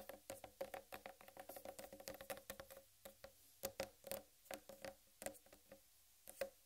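Long red-painted nails tap quickly and irregularly on a large, whole, uncut watermelon with a green striped rind. Each tap is a short, bright click over a hollow, muted tone around 540 Hz. The taps come in dense runs, then grow sparser, with quiet gaps between them.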